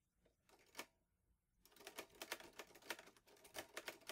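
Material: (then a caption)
Metal. Fingertips type on the keys of a green metal portable manual typewriter, an Olivetti Lettera 22. A few sharp, bright key strikes come first, then a brief pause, then a steady run of crisp metallic clacks. Each clack is short and dry, with almost no low end.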